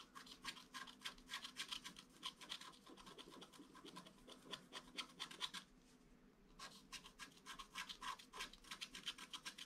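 A wooden stylus scratches the petals of a red flower into a flat black-coated scratch-art card. Quick, uneven, bright scratching strokes repeat rapidly, pause briefly just after six seconds, then resume.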